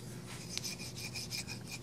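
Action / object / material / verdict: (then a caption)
scrape / steel folding knife blade pivot / steel / gritty. The pivot of a Heretic Wraith V3 flipper knife, with a stonewashed, PVD-coated steel blade and a carbon fiber handle, makes a gritty rasping, rubbing sound as the blade is worked open and closed. Bright scratchy bursts repeat through the clip, with one sharp click near the middle. The action is super gritty and too tight for the blade to drop freely, so the knife is being returned.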